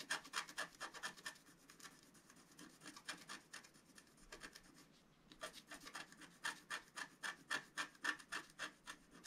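A wooden stylus scratches small, quick strokes into a flat black wax-coated scratch art sheet lying on a table. Rapid, fairly regular bursts of dry, bright rasping carry a faint whistle-like tone near 1.8 kHz. The scratching softens and nearly pauses around the middle, then resumes in a stronger run of strokes.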